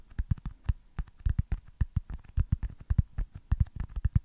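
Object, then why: Foam stress ball. Fingertips tap rapidly on a small, solid white foam baseball stress ball. The taps are soft, dull thuds with almost all of their energy low in pitch, each dying away almost instantly.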